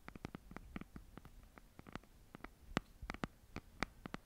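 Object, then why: Hardcover notebook cover. Long nails tap and scratch the cover of a red hardcover notebook held flat in both hands. The result is a quiet, irregular series of short, dry clicks and taps with faint scratchy texture between them.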